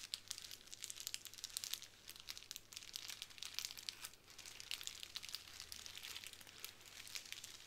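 Long nails and fingertips scratch and press the bubbles of a small clear plastic bubble wrap square resting on a wooden table. The result is a quiet, steady stream of bright, dry crinkles and tiny clicking crackles with no low-end weight, each snap fading almost instantly.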